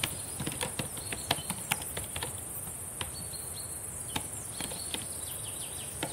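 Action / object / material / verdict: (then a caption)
tap / plastic laptop keyboard keys / plastic / none. Long painted nails and fingertips tap on the plastic keys of a black laptop keyboard, making sharp, quiet clicks in an uneven typing rhythm. A steady high hiss runs underneath the whole time.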